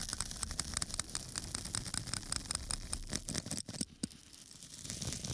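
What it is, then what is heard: Foam sponge scratched. A small flat square of pink porous foam sponge, held in one hand, is scratched repeatedly with a small metal tool held in the other. The result is a fast, dense patter of dry, bright scratching over a soft low rumble, with a brief quiet gap just before the scratching resumes.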